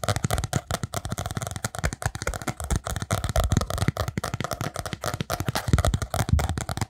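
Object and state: Spiral notebook with cardboard cover, tapped and scratched.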